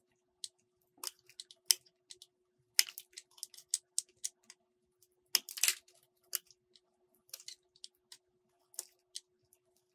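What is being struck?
Soap bar cut with a metal blade.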